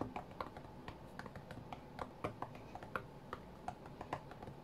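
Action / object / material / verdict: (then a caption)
tap / glass tablet touchscreen / glass / none. Fingertips of both hands tap on the glass touchscreen of a white iPad lying flat on a mat. The result is a quick, uneven string of short, dry clicks with almost no ring, set against a low background hum.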